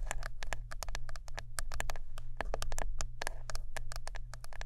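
Close-up tapping and scratching on a wooden brush. It makes a rapid, irregular series of sharp, bright clicks with short decays, over a steady low hum.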